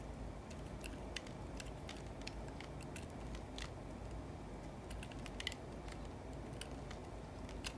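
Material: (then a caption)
Soap. A yellow utility knife blade shaves and scrapes flakes off the surface of a solid rectangular bar of white soap held in one hand. Many short, crisp, bright scraping ticks sound over a steady low background hum. The cuts come in an irregular rhythm with no long ring after each.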